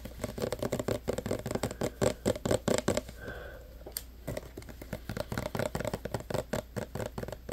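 A clear 236 ml plastic hand sanitizer bottle full of green gel is held in both hands while fingertips and short nails tap and scratch its sides. Quick, hollow plastic taps come in a busy patter, give way to a softer stretch of scratching with one sharp bright click, then the rapid tapping resumes until the end.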